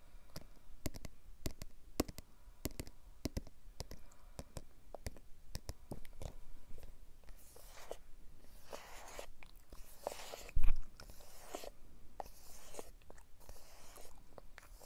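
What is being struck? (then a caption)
Small cardboard smartphone box. A small, closed, hollow dark grey cardboard smartphone box is held upright and tapped and scratched on its surface with fingertips and nails. Quick, light, dry taps come first, then give way to rougher, bright scratching strokes. One louder hollow tap stands out near the end.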